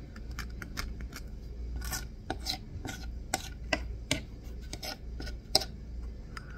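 A wooden-handled carving knife scrapes along the edge of a solid green bar of soap held up in one hand, making a series of short, dry rasping scrapes with bright, crisp tops. The scrapes come in uneven bursts over a steady low hum, each cutting off almost at once with no ring.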